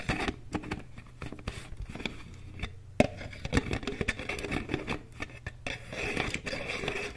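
Long nails tap and scratch a medium white plastic Aveeno cream jar and its green plastic lid. The result is a quick, irregular patter of short, dry clicks mixed with brief scraping sounds, over a faint low hum.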